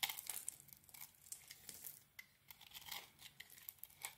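A solid rectangular bar of soap, cream inside with a pink metallic coating and a heart print, is held in the hand and scraped and shaved with a small metal blade, flakes falling away. Quiet, bright, dry scraping and crackling strokes come in quick, short bursts with almost no low end and a faint tone near 2.1 kHz.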